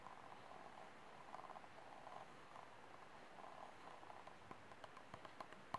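Fingertips and nails scratch and tap along the thin wall of an empty white disposable plastic cup held sideways. A soft, rustling scratch with a hollow midrange ring gives way to several sharp, bright, short taps toward the end.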